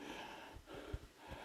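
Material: Nothing is struck.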